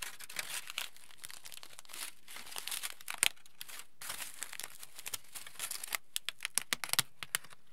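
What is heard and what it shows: A large, wrinkled sheet of aluminium foil is rubbed flat on a table with palms and fingers, then held up and crinkled. The rubbing gives a dense, bright, continuous crinkle that fades and returns in waves. This gives way to sharper, separate crackles toward the end.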